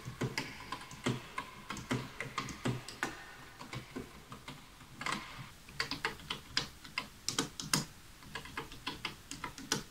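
Fingertips of both hands type rapidly on a full-size light bamboo wooden keyboard with wooden keys, resting on a white desk beside an untouched wooden mouse. The result is a steady run of quick, dry taps in an uneven rhythm, each with a bright clack over a soft low knock. Every tap dies away almost instantly.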